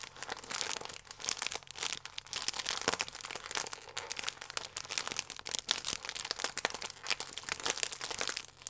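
A sealed, full plastic film croissant pack is squeezed and crinkled between both hands with the fingertips. It gives a dense, continuous run of bright, crackling crinkles with quick bursts and almost no low end. Each crackle stops sharply without ringing.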